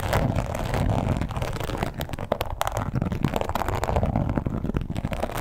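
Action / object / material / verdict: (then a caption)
scrape / embossed leather wallet / leather / none. Long pointed acrylic nails scratch and tap across a red croc-embossed leather wallet lying flat. A steady stream of soft, dull scratching is dotted with quick, muffled taps, heavy in the low end with very little brightness. Each tap dies away almost instantly.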